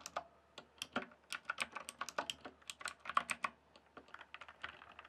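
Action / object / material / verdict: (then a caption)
tap / plastic computer keyboard / plastic / none. Fingertips type on a full-size, backlit plastic RGB computer keyboard, producing a quick, irregular run of short, dry key clicks with bright tops. Each tap dies away almost instantly over a quiet background.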